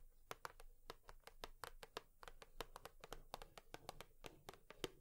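A cardboard tissue box is tapped with long nails in a quick, uneven rhythm of 27 sharp, dry clicks over about five seconds. Each tap is a bright, papery tick with a hollow body around 375 Hz that dies away almost instantly.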